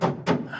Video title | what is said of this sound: WELDING FAIL!! ❌ I set my Mk1 Escort on FIRE!! 🔥 🙁 | when I hit it with a hammer, it's solid. It's literally solid.